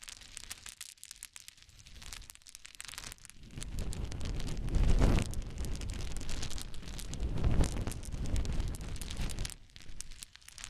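Hands scoop, rub and let fall a pile of small, light wooden cube chips resting on a blanket. The result is a dense, crackling rattle of tumbling chips with a soft low rumble. It starts sparse and quiet, swells into heavier pours around the middle, and thins out again at the end.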